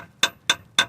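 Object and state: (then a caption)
Solid metal jacking point under a car. Three sharp taps on the solid metal jacking point under a car, each a bright, high-pitched clank that dies away almost at once. The spot sounds solid, confirming it is metal and the right place to set the jack.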